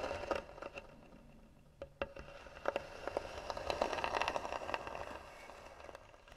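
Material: Wood.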